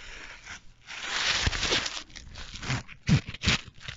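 An empty, soft black nylon tripod sleeve bag with a Rollei logo is scrunched and rubbed between the fingers. It makes bursts of dry, broadband crinkling and rustling that swell and fade unevenly, with a few sharper, louder crunches near the end.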